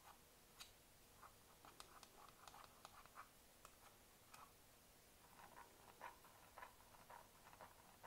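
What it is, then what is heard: Plastic computer mouse tapped with nails. Long nails and fingertips tap and click on a hollow black plastic computer mouse resting on a mouse pad. Quiet, irregular, light ticks and clicks sound in a scattered rhythm, each with a short, dry decay and a mid-pitched plastic tone.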